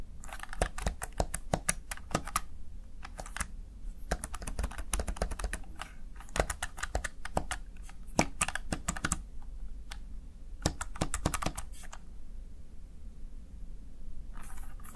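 A small backlit plastic Razer Tartarus Chroma gaming keypad has its keys pressed and tapped by the fingertips and nails of one hand. Quick, dry plastic clicks come in rapid clusters separated by short pauses, over a steady low hum. A brief soft hiss closes the clip.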